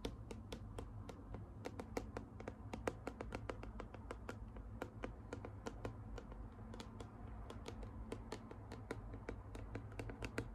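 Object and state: Plastic bottle tapped with fingernails.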